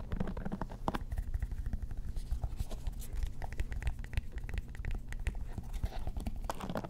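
Painted long nails rapidly tap and scratch the plastic back and bristles of a lime-green plastic paddle hairbrush with a cushioned bristle pad, held close to the microphones. The result is a dense, continuous stream of short, dull, low-heavy taps mixed with soft scratchy rustling, with no lingering ring.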